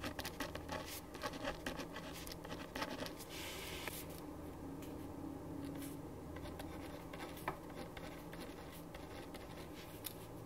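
A ballpoint pen writes on a thin printed paper sheet lying flat on a wooden desk. Quiet, dry scratching strokes come in quick irregular bursts with bright, hissy edges over a steady low background hum, with one sharper tap near the end.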